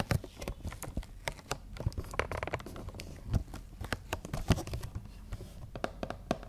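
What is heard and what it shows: Long nails tap and scratch across a printed cardboard toy box with a clear plastic window and figures inside. Many quick, dull taps with a low-heavy thud and almost no ring are mixed with brief scratchy rustles on the cardboard and plastic.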